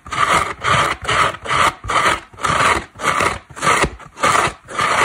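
A large, dry, rectangular orange-yellow synthetic foam car sponge with a cotton cord, a solid porous block, is held in one hand and scratched across its surface and edges with long black acrylic nails. Ten rasping scratch strokes come in a steady back-and-forth rhythm, each a dry, papery scrape with a tone centered around 1.2 kHz and a bright hiss above it, with little low end.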